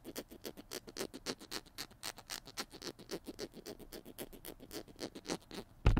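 Fingernails scratch around the blue cap of a small hollow plastic glue stick held in both hands, making a rapid series of dry, bright scratching strokes. A louder knock lands near the end.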